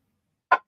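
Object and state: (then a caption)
Uncracked cast iron pan. A secondhand cast iron pan is tapped once to check for cracks, giving a single bright metallic ring centered near 1 kHz that fades within about a tenth of a second. The pan rings clearly, showing it is uncracked, and it sits flat.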